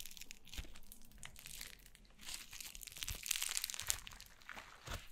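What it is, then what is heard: Foam slime being squeezed. Yellow foam slime is held in the hands, then stretched, folded and squeezed with fingers and long nails. It gives off dense, irregular crinkling and crackling pops that are bright and airy, with soft low thumps underneath. The crackles swell louder in the middle and then ease off.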